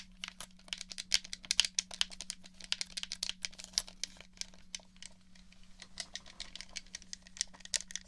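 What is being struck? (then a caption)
Plastic game controller. Fingertips press the buttons and tap the shell of a black, hollow plastic gamepad held in both hands near a dummy head's ear. A rapid, uneven stream of short, bright clicks and taps cuts off instantly with no ring. A faint, steady low hum runs underneath throughout.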